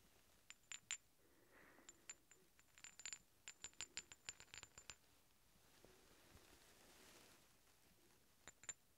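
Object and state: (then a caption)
Steel bolts clinked together. Two large solid steel threaded hex bolts, held one in each hand, are clinked and rubbed together, producing a run of short, bright metallic ticks with a high ringing tone and a faint scraping rub between them. The taps come in clusters, pause for a few seconds, then return as a final pair.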